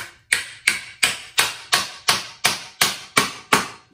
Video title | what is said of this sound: Light-O-Rama Singing Character - DIY Frame Build | when you hear the thump you can tell that you're you've got it secured